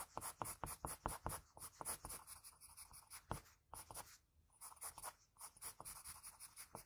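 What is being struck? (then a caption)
Graphite pencil on a sheet of drawing paper. A graphite pencil scratches long outline strokes along the cheek and jaw of a face drawn on a flat sheet of white drawing paper. The sound is a quiet, dry, brushy scratching in quick, uneven strokes with a bright hiss, and each stroke stops short with almost no ring. There are brief pauses near the middle before the strokes resume.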